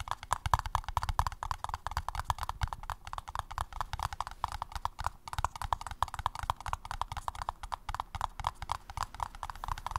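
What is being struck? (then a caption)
Paper cup. Rapid, steady tapping on a paper cup, each short dull knock carrying a hollow midrange tone with a low thump beneath it. The taps run close together without pause for the whole clip and die away almost instantly.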